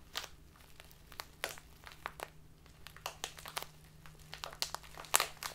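A tall, narrow clear plastic bag full of loose dried tea is squeezed and crinkled between fingers with long painted nails. The result is a quiet run of sharp, bright, crisp crinkles in irregular bursts, each dying away almost instantly, over a faint steady low hum.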